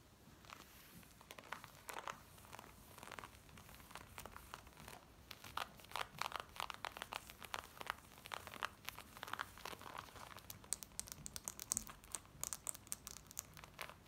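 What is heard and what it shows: Long nails scratch black cotton denim jeans worn on the body, moving over the thigh, the back pocket and the front waistband. The fast scratching is a quiet stream of dry, bright rasps and crinkly scrapes with little low end, growing denser and sharper toward the end.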